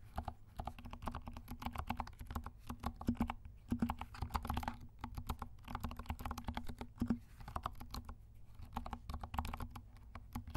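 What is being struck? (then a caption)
Plastic mechanical keyboard keys. Fingertips of both hands type steadily on a compact 68-key mechanical keyboard with dark plastic keycaps and silent switches. The keystrokes come as soft, muffled, low thuds in quick, uneven bursts with brief pauses, with almost no bright click. A faint, steady low tone sits under the typing throughout.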